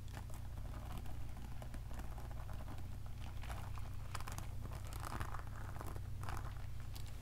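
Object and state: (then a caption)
Beaded plastic pearl handbag. Long nails and fingertips scratch and rub a small handbag woven from light-blue plastic pearl beads, with flower accents and a gold chain strap. Beads click and rattle against each other in quick, crinkly bursts, over a steady low hum that sits under the whole clip.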